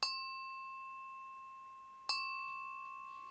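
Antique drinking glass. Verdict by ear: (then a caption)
Thin. A fine, very thin 19th-century drinking glass, possibly Whitefriars uranium glass with a pontil mark, is pinged twice. Each ping gives a clear, bright bell-like ding with a long, steady ring. The second ping comes about two seconds after the first, while the first is still sounding.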